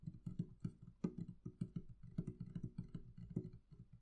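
Long nails tap rapidly and scratch across the wooden lid top of a hollow, closed wooden barrel-shaped chest. Each tap gives a short, dull, hollow knock low in pitch, with very little ring and a faint scratchy texture between the hits.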